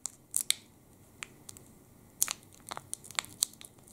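A full Sport chocolate bar in its plastic wrapper, held in both hands and crinkled with the fingertips. The result is a series of sharp, bright crackles and short crinkling bursts separated by quiet gaps, with almost no low end.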